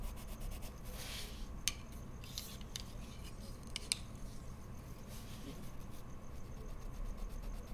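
A wood-cased colored pencil tip is drawn in short scratching strokes over a large flat sheet of white mixed media paper in a pad on a wooden desk, shading flower petals, while the other hand holds a bundle of pencils. Soft, bright scratchy rasps come and go over a quiet, steady low hum, with two sharp, brief ticks standing out.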